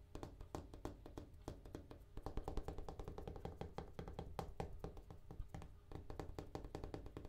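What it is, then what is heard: Bathroom countertop. A bathroom countertop is tapped in a quick, steady flurry. Each tap is a short, dull knock that dies away almost at once. The sound is low and thuddy with little high-end brightness.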